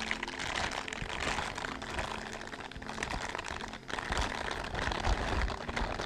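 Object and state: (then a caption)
Silicone dishwashing gloves being rubbed. A pair of blue silicone/rubber dishwashing gloves with scrubber bristles, worn on both hands, has the gloved palms pressed and rubbed together beside a microphone without touching it. A continuous, dense rubbing and crinkling texture fills the clip, with squeaky mid-range friction and some low rumble. The level stays fairly steady apart from a brief dip just before the four-second mark.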